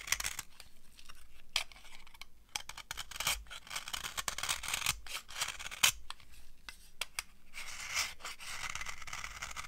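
A solid, dry orange soap bar is carved along its edge with a metal knife, giving a run of close, crunchy scrapes and brittle cracks. The sound is mostly bright, with short sharp transients and little ring, and the busiest crunching comes near the end.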